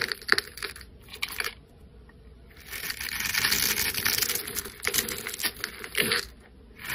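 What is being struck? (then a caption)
Bar of soap scraped with a metal blade. A solid coral soap bar with an embossed logo, held in the hand, has its scored surface scraped off in crunchy cubes with a flat metal blade. Bright, crisp crunches and scraping crackles come in bursts, with a longer sustained scrape in the middle and short sharp snaps near the start and end.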